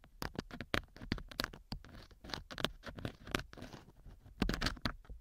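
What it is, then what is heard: Silicone ear being scratched. A thin wooden or bamboo earpick scratches and rubs inside a small solid silicone model ear mounted as the left ear of a binaural microphone. The result is a close, dry series of short crackling scratches and soft rubbing strokes, each with a bright, crisp edge over a dull low thump.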